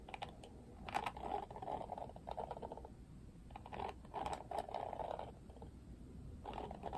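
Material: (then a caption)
Plastic. Fingertips flick and strum the pink-tipped plastic bristles of an oval plastic Barbie detangling paddle hairbrush with a black cushion. Quiet bursts of rapid, dry plastic clicking and rattling in the mids come in several clusters with short pauses between them, over a faint low background hiss.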